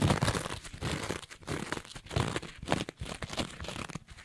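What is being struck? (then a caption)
Two-layer kitchen sponge, abrasive scouring pad over foam. Long nails scratch the green abrasive scouring layer of a rectangular two-layer kitchen sponge with a yellow foam layer. The result is rapid, rough bursts of crinkly, crunchy scraping, with a full low-end body and brief bright edges, that swell and fade.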